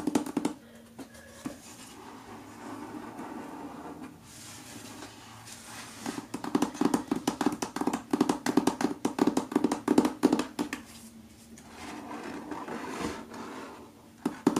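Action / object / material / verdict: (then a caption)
tap / paper-covered book / paper, card / none. Fingertips and nails tap on the paper front cover of the solid thriller book "Secluded Cabin Sleeps Six," held upright against a window. Soft, dull brushing and light taps give way to a burst of fast, crisp tapping in the middle. It then settles back to quieter contact before a few final taps.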